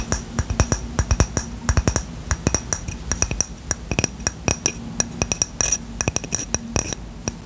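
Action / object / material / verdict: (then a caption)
tap / small ceramic coaster / ceramic / none. Short fingernails and fingertips tap and scratch the surface of a small, round, white ceramic coaster, which is solid and flat and held in one hand. Dozens of quick, irregular taps sound as sharp clinks with a bright, glassy edge and a low thump underneath. Each tap dies away almost at once, with a faint scratchy hiss between them.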